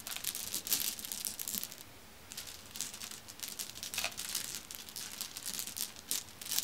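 Fingertips with long nails press and rub across a pile of solid, dark, glossy glass marbles resting on a fuzzy cloth, making the marbles click together. The clip is a steady stream of bright, crisp clicks and rattles with a brief quieter pause near the two-second mark, then continues in uneven bursts.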